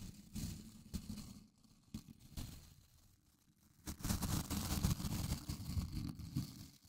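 Fingertips scratch and flick the white nylon bristles of a small blue plastic scrub brush, making soft, crackly rustling bursts with a heavy low rumble. A quieter stretch in the middle gives way to denser, louder, continuous scratching for the last few seconds.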